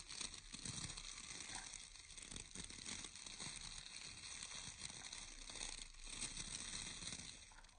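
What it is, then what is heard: Round bristle hair brush with wooden core. Fingertips and nails scratch and flick the natural bristles of a round hair brush with a wooden core. The result is a quiet, steady run of dense, bright crackling and rustling that rises and falls slightly without a clear pause.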